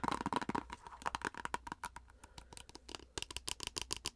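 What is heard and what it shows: A plastic face-mask squeeze tube with a printed label is tapped and scratched rapidly with long acrylic nails. The result is a fast, irregular run of sharp clicks and brief scratchy crinkles, with a slight ring around 940 Hz and a bright edge.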